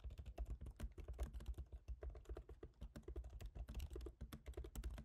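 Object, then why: Laptop keyboard, plastic keys in aluminium body. Both hands type rapidly with fingertips on a MacBook Pro keyboard, its black plastic keycaps set in a silver aluminum body, with the solid laptop resting on a dark desk. A steady run of quick, dull key taps sounds, each soft and low-heavy with a very short decay.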